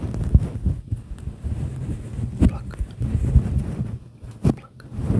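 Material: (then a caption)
Synthetic fur. Fingertips pinch, pluck and rub the fibers of a fluffy grey-and-white synthetic fur windscreen over a microphone. The result is a dense, muffled low rumble with soft rustling, broken by several short, louder thumps.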